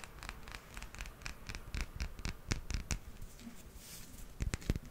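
A small, solid hard plastic toy hippo figurine is held in the palm and scratched with fingernails along its back and sides. The result is a quiet, rapid series of dry, short scratching strokes with bright edges over a soft low rumble, and each stroke stops without any ring.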